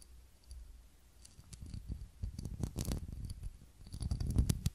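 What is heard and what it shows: Long nails scratch and tap on a small ribbed glass candle holder holding a lit candle. The sound is a quiet, irregular run of soft scratches and short dull clicks, mostly low and muffled, with a few brighter ticks. Each tap dies away almost at once, growing somewhat louder toward the end.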